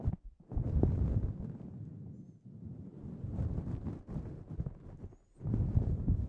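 Both hands cup a grey synthetic fur windscreen on a microphone and scratch and squeeze it with their fingertips. This produces deep, muffled rustling and rumbling that is heavy in the low end. It comes in loud bursts separated by quieter, softer stretches.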